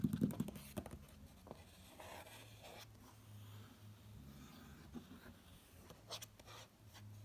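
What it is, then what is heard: Glossy magazine page. A fingertip traces and lightly scratches over the page of a glossy paper magazine lying open at a tiger photo. Soft, dry scratching and rubbing sounds come in short strokes, louder at the start and then quieter, over a steady low hum.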